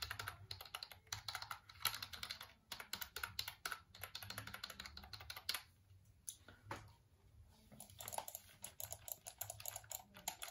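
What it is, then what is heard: Plastic computer keyboard. Fingertips tap and click the keys of a hollow black plastic computer keyboard held in front of the face. Quick bursts of short, bright, crisp clicks die away almost instantly and carry little low end. The typing pauses briefly twice and then resumes.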